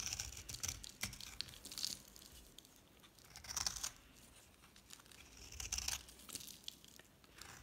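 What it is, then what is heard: Dry soap bar being shaved. A solid, palm-sized yellow dry soap bar with a black painted rim is held in the hand and shaved with a metal utility knife blade, producing crisp flakes. Bright, dry scraping and crackling strokes come in bursts, with the loudest passes near the start, the middle and the end, separated by quieter crumbly rasping.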